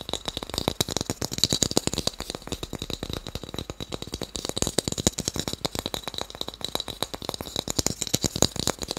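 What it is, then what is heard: Small wooden cube block. A small, solid, pale wooden cube is held in the hands and tapped quickly with fingertips and nails. It produces a dense, continuous stream of sharp, dry clicks that die away almost instantly, with a bright tone.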